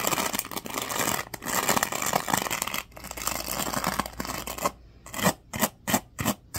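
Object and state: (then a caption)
Plastic hairbrush bristles being scratched. A black plastic oval hairbrush is held in the hand while fingers rub and scratch across its teal-tipped bristles. The first part is a dense, continuous bright scratching, which breaks after a brief pause into five separate short bristly strokes.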